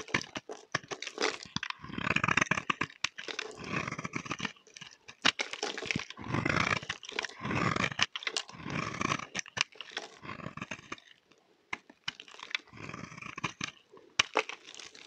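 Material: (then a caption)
Soap. A utility knife blade shaves a solid, dry, rectangular, palm-sized brown tar soap bar, cutting and scraping across it. Rough, bright scraping strokes come in short bursts separated by brief pauses, with sharp crisp clicks and ticks between them as the blade catches and shavings break away.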